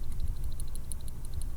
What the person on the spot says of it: you can hear it rattling around in there a little bit of mercury rattling around in there